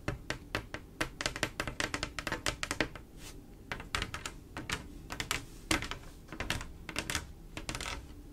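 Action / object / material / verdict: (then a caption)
tap / mirror-glass mosaic tile panel / glass / none. Long acrylic nails on both hands tap and scratch across a flat panel of silver mirror-glass mosaic tiles set in grout. Quick bursts of sharp, bright, clicky taps stop almost instantly, broken by a quieter stretch of light scratching over the tiles and grout lines.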